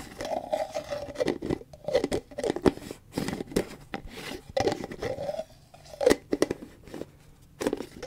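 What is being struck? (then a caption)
Plastic cream tub with lid. A large white plastic Cetaphil tub with a green plastic lid is tapped and scratched with long fingernails, and the lid is lifted and replaced. Irregular bursts of dry, hollow plastic taps and raspy scratching fill the midrange, with each sound stopping short and leaving no ring.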